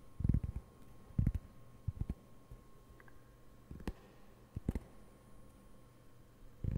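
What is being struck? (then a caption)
Cork board. Fingertips lightly tap and scratch the surface of a round, flat, solid cork board held up near the mic. Sparse, irregular soft thuds and faint scratches come through, dull and low with no ring, separated by quiet gaps.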